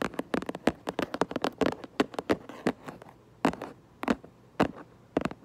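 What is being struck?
Cardboard box.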